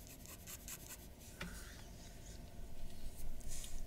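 A glass dip pen with a metal nib scratches across a large sheet of white drawing paper lying flat on a wooden desk in short hatching strokes. The result is quiet, rhythmic, bright scratching and rubbing over a steady low rumble, with the strokes growing louder and denser toward the end.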